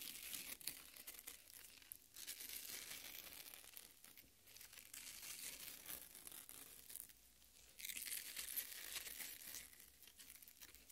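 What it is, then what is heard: Watermelon flesh being scratched. Long nails scratch and squeeze the red flesh of a watermelon half, producing a dense, bright crackling and tearing sound with almost no low end. The texture comes in uneven swells, with louder bursts near the start and again around the eight-second mark between quieter stretches.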